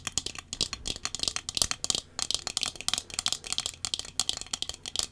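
Small round wire metal-frame sunglasses with dark tinted lenses, held in both hands, are tapped on the lenses and frame with long fingernails. A rapid, uneven run of light, bright clicks and ticks follows, each dying out almost instantly, with very little low end.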